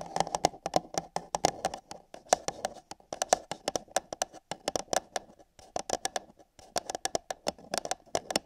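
Long yellow nails tap and scratch the wall of an empty, hollow, thin-walled printed paper coffee cup fitted over a binaural microphone ear. Dozens of quick, irregular clicks and taps come in bursts with short pauses between them. Each has a hollow mid-pitched ring and a bright edge that dies away almost instantly, with a faint scratchy rustle underneath.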